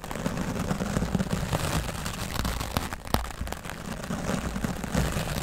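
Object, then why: Foam microphone windscreen. A wooden bristle dry brush is swept back and forth across the top of a grey foam microphone windscreen. The result is a steady, dense, low rumbling scrape with soft scratchy texture and a few sharp clicks, the loudest near the middle of the clip.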